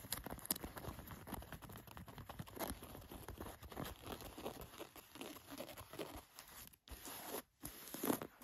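Long-nailed fingers open and scratch the chest pocket flap and plastic button of an olive cotton canvas jacket. The result is a quiet, continuous stream of dry scratching and crinkly fabric rustling, with short sharp ticks throughout and two brief pauses near the end.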